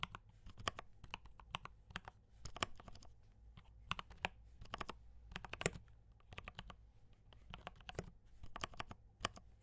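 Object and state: Mechanical keyboard with plastic keycaps.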